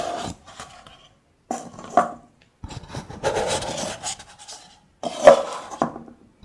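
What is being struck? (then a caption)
Nested kraft paper cups. A stack of nested, hollow, empty kraft paper cups is slid and rubbed against each other by hand. Four separate bursts of dry, raspy scraping carry a hollow midrange tone. Short, abrupt gaps of silence fall between the bursts.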